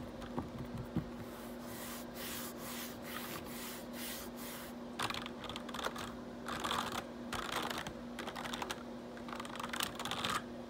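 Fingertips type on a black plastic RGB backlit computer keyboard, with some rubbing across the keys. Soft, bright clicks and scratchy swishes come in bursts over a steady low hum.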